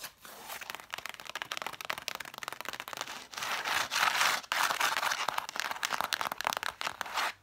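Long fingernails rapidly tap and scratch the sides and spines of a stack of red cloth-bound hardcover books, whose spines face forward. The sound is a dry, bright, crackly patter of quick taps, with louder bursts of continuous scratching in the middle of the clip.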